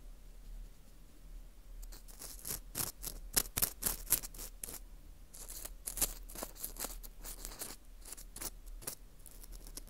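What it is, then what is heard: Dried wheat gluten ring (fu) scraped. An orange plastic earpick scrapes inside the hole of a porous dried wheat gluten ring (fu) held in gloved hands. After a quiet low hum for almost two seconds, a fast, irregular run of short, dry, bright scratches follows. Each scratch is crisp and ends almost instantly.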